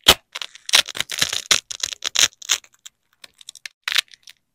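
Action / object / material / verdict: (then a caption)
scrape / nylon hook-and-loop fastener / nylon / none. A large yellow nylon hook strip is peeled and ripped away from a black loop strip by black-gloved fingers. Bursts of bright, crunchy tearing come in irregular spurts, dense at first, then thinning into short sparse rips.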